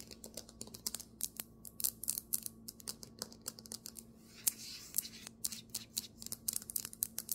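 Fingernails tap fast on a marble table top, making dozens of short, bright clicks that stop dead with no ring. Around the middle, a brief steady scratch across the surface fills in a bright hiss. A faint low hum runs underneath throughout.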